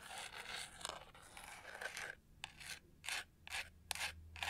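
Long nails scratch and rub the studs on the textured pink-gold back of a hollow plastic hair brush, turned to show its edge. A dense, continuous bright scraping runs for about two seconds, then gives way to separate short rasping strokes with quiet gaps between them.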